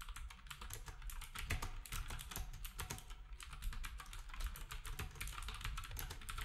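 Fingertips type rapidly on a black compact plastic typewriter-style keyboard with round plastic keycaps. A dense stream of short, bright clacks comes with some louder strikes, over a steady low hum.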